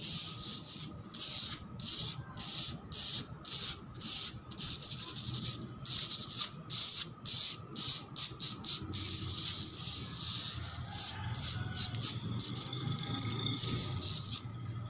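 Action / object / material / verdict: scrape / cement floor / cement / none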